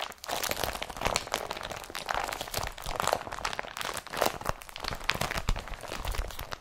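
An empty blue IKEA BRATTBY woven polypropylene carrier bag with a yellow strap is crumpled and rubbed between the fingers. It gives off a steady stream of dry, crunchy crinkles and scratchy rustles, with brief louder crackling bursts standing out throughout. The crackles reach from low thuds up to bright, papery highs.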